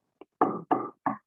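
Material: Wood.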